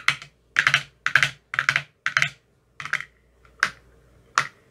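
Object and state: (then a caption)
Plastic ice cube tray. A thin metal rod taps an empty clear plastic ice cube tray with green silicone cell bottoms. It comes in eight short bursts of quick, dry, bright clicks with almost no ring, and the last two bursts are single sharper taps.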